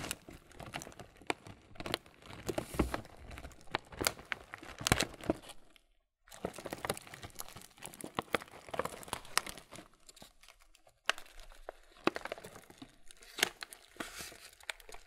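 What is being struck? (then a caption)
Laminated plastic cereal bag. A full, printed laminated plastic Kellogg's muesli bag is turned over and squeezed by hand, producing dense, crisp crinkling and crackling with sharp bright snaps. The rustling runs in bursts, broken by a brief silence near 6 seconds and a sharp drop near 11 seconds.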